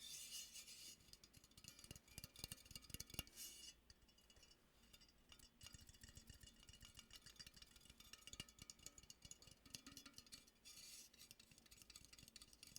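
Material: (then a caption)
Metal. A handmade metal robin ornament is tapped and clinked, making many rapid, bright metallic clicks and light rattles that cut off almost at once. Quieter rustling and handling sounds fill the gaps between the taps.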